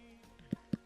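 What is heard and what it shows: Two dull, low thumps, pitched around 200 Hz with almost no ring, come from tapping the soil over a buried desert truffle (domalan), with faint background hum between them. Digging confirms a truffle was there, buried very deep and not very big.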